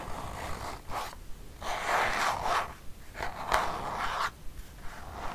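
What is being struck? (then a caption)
Plastic squeeze tube. Long painted nails scratch a filled white plastic squeeze tube of Dove hand cream. Raspy, zipper-like scraping comes in irregular bursts of strokes, concentrated in the mids with quiet pauses between.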